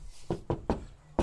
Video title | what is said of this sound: Gq sound dampening | immense difference i reckon sounds heap solid